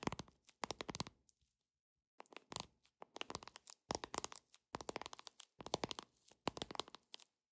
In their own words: 13:41- Tapping Deck Of Cards With Long Nails